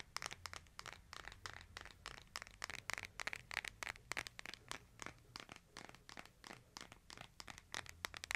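A hand-sized smartphone with a glass screen and a case is held in both hands while fingertips tap and scratch its case and edges. The result is a quiet, rapid, uneven stream of dry, bright clicks mixed with crinkly scratching, each tap stopping almost instantly with no ring.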